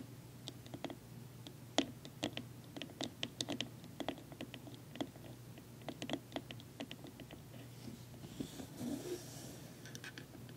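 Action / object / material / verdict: tap / wooden tea box / wood / none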